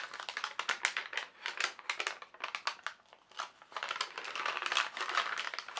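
A single translucent sheet of tracing paper is held in both hands, flexed and crinkled. It makes rapid bursts of crisp, bright crackling with almost no low end, easing into a brief quieter stretch midway before the crinkling picks up again.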